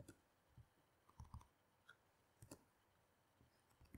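Fingertips with long nails type on the plastic keys of a black laptop keyboard resting on a table, with magazines lying untouched nearby. About ten soft, short clicks come at an uneven but steady pace, each dull and low-weighted with a faint bright tick that dies away almost at once. The overall level stays quiet.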